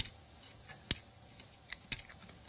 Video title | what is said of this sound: Hochanda TV - The Home of Crafts, Hobbies and Arts Live Stream | actually sounds like plastic now and there is a rigidity to it that I would not have believed unless I felt it